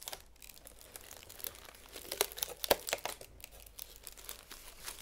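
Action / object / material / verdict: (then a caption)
scrape / aluminium foil flexible duct hose / aluminium foil / none. A hollow, empty silvery ribbed aluminum foil flexible duct hose, about forearm length, is held in both hands with long nails and flexed, compressed and bent. Its foil ribs give off irregular, bright crinkling and crumpling with sharp snaps, the loudest near the middle.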